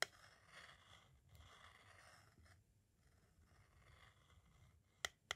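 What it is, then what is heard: Plastic audio cassette. A thin metal-tipped green tool traces across the label of a white, hollow plastic audio cassette shell with tape inside, making a soft, bright scratching. Three sharp, short taps stand out: one at the start and two close together near the end.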